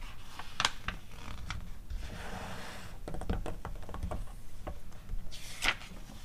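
Long acrylic nails tap and scratch the pages of an open glossy paper magazine catalog, and the pages are turned. Short, dry clicks and scrapes come in quick clusters. A bright, rushing swish of paper near the end marks a page turn.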